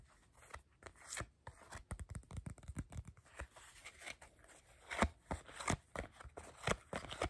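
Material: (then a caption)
Coated paper. A deck of coated paper playing cards is held in the hands while fingertips riffle, tap and scrape the card edges. The result is a quiet, uneven run of short dry taps and crisp papery flutters with soft low thuds and bright edge scrapes, growing a little louder toward the end.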